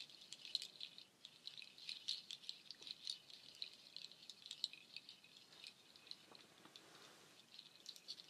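A nut shell waterfall shaker, made of hanging strands of dark hollow nut shells, is shaken and brushed with long nails. It gives a quiet, continuous, dense rattle of tiny dry clicks that are bright and high, with no low end. The clicks stop short with no ring.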